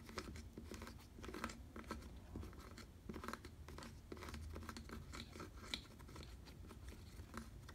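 Fingers scratch and rub the rounded nose and underside of a black faux leather bicycle saddle. The result is a quiet, steady run of dry, crinkly scraping and rustling over a low rumble, with occasional sharper, brighter scratches standing out.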